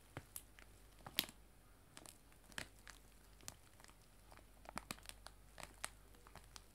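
A clear cellophane bag of dried loose tea lies flat on a table and is rubbed and scratched with fingertips and long nails. About fifteen sharp, bright crinkles and crackles stand out over a faint, quiet hiss. Each one snaps off instantly with no ring.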